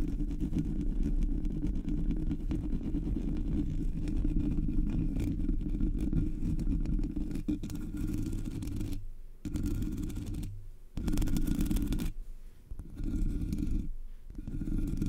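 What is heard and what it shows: Long, metallic-polished nails scratch the hollow black metal mesh grille of a Blue Yeti microphone, making a steady, dense low rumbling scrape. The scratching runs continuously with brief dips and pauses near the end.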